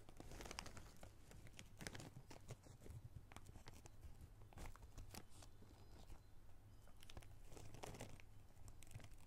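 A small clear plastic zip-lock bag holding small red rubber rings is pinched, crinkled and lightly shaken with the fingers, and the rings shift around inside. A steady run of soft, crisp crinkles and rustles with brief bright snaps rides over a low, constant hum. The sound stays quiet and close throughout.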